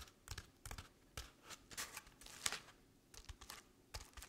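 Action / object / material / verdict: scrape / paper-covered decorative pumpkin / paper / none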